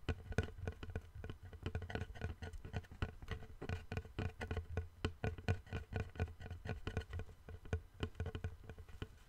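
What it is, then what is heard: Solid wooden board. A long, flat, light, solid wooden board is held in both hands while fingertips tap and scratch its face and edge. The result is a steady stream of quick, dry, low knocks with short bright scratchy edges and almost no ring.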